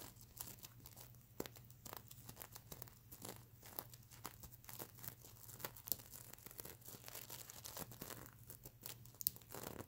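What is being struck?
Plastic sequins on a stuffed fabric pillow.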